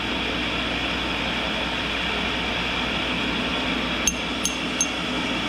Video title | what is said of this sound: Daily Grind, prepping the cutter grinder basic | hear that little ring? Now, if the wheel was cracked, it would be a dull thud